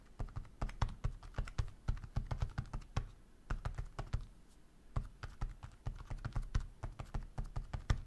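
Fingertips type on the soft rubber keys of a black, flexible roll-up silicone keyboard with red and blue keys, lying flat on a wooden desk. A quick, uneven run of short, dull, low thumping taps, with brief pauses near the middle, makes a muffled, cushioned patter with no bright click.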